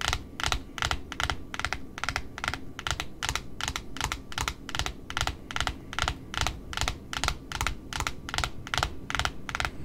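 Long nails scratch and tap the white cardboard face of a large pink satin ribbon spool, in close-up. Quick, dry, bright clicks repeat in a loose, uneven rhythm over a soft low rumble, each tap dying away almost instantly.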